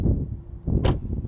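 A door on a 2022 Audi RS e-tron GT is opened and shut from outside, giving a deep, low thud with a short sharp latch click. The door closes solidly.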